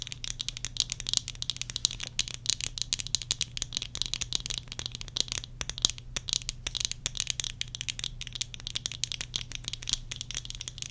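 Long nails tap rapidly on the rims and lenses of worn tortoiseshell plastic eyeglasses, rattling the frame. The result is a dense stream of short, dry, bright clicks with almost no ring, over a faint steady low hum.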